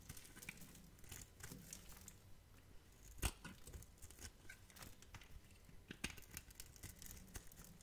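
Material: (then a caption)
Glycerin soap. A metal knife scrapes the surface of a hand-sized, solid, clear yellow glycerin soap bar held in the hand, then cuts small cubes from its end. The result is quiet, dry scratching and crinkly carving with soft low thuds and bright, short ticks, plus one sharper snap about a third of the way through.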